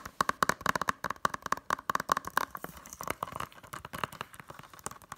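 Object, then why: Plastic Blu-ray case. Long nails tap quickly on the front cover of a closed, hollow, blue plastic Blu-ray case. The result is a rapid, uneven stream of short, dry clicks with a hollow, plasticky tone centered around 1.1 kHz. Each click dies away almost instantly, leaving light crackle between the taps.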